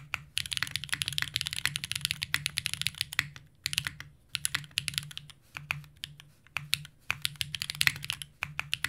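A compact green Unikorn R2.1 mechanical keyboard with Zaku's plastic keycaps and an aluminum plate is typed on continuously by two hands, fingertips pressing keys for rapid, bright, sharp clacks. Bursts of fast keystrokes are separated by brief pauses, and each click is short and crisp over a faint low hum.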